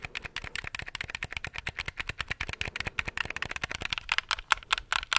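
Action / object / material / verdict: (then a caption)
tap / plastic game controller buttons / plastic / none. Fingertips tap and click the buttons of a handheld black plastic gamepad held close to the mic. The result is a fast, steady run of short, dry plastic clicks with a bright, crisp tone and almost no low end. The clicks grow a little sharper and louder toward the end.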